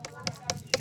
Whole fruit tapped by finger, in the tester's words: c'est pas ferme c'est pas le bruit sourd donc elle est bonne